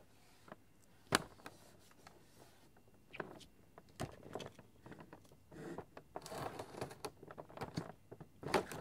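Long painted fingernails tap and scratch across the flat printed back panel of a large, hollow cardboard toy box with a pink rabbit design. Quiet, sharp taps are scattered between brief scrapes, with a longer rustling, scratchy stretch partway through and a final louder tap at the end.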